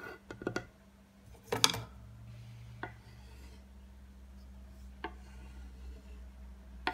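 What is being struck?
Wooden cutting board scraped with a wooden stick.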